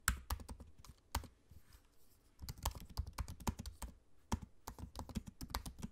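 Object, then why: Aluminium laptop keyboard with plastic keys. Fingertips of both hands type on the low-profile black plastic keys of a space-grey aluminium laptop keyboard. Quick, short clicky taps with a soft low thump come in irregular bursts, with a brief lull partway through before the typing picks up again. Each keystroke dies away almost instantly.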